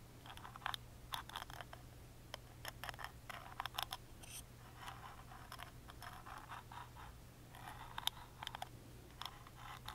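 A wooden toothpick scratches along the engraved grooves of a small, hollow, carved plywood music box lid, recorded close up. Quick, bright, dry scratches and ticks come in irregular bursts with almost no ring, over a faint, steady low hum.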